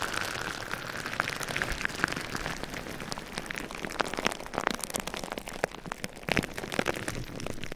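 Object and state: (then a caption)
Plastic bubble wrap. Clear plastic bubble wrap stretched over a microphone is tapped and scratched with fingertips and nails. The result is a dense, continuous patter of sharp, dry crackles and clicks, like rain on a surface, with bright plastic crinkle and a few louder taps toward the end.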